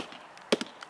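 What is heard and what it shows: A mallet taps a spot at the base of a chinquapin oak trunk, giving a few short, dry, hollow-sounding knocks with a mid-pitched tone and almost no ring. The trunk sounds hollow there, consistent with a hollow of about 3 feet under the tree.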